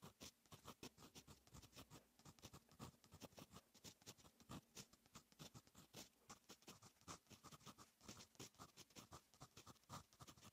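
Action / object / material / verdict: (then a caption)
scrape / metal fountain pen nib on lined paper / paper / none. A fine metal fountain pen nib writes on a lined paper notebook page, making quick scratching strokes. The sound is a steady stream of soft, dry, bright scratches with brief pauses between strokes.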